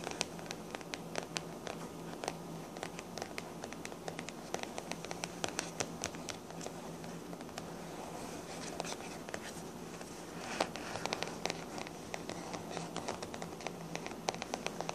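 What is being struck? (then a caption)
Hardcover book with paper cover. Long black-painted nails tap and scratch a small blue TARDIS-printed hardcover book with a printed paper cover as it lies flat on a table; the book is then picked up and held on edge. The result is a dense, steady run of short, dry clicks and scratchy rasps with bright ticks over a faint low hum, growing slightly busier and louder about two-thirds of the way through.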